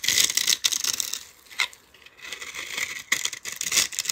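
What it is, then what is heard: Bar soap being carved. A palm-sized solid yellow soap bar with a dark glitter rim is held in a long-nailed hand and scraped and carved with a metal utility-knife blade. The result is bright, crisp, crackly scraping bursts with almost no low end, easing into a quiet lull midway before the dry carving starts again.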